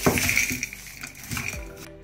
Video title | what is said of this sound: Liquid co2 thruster Rocket Powered Skateboard | you can hear them rattling around in the tank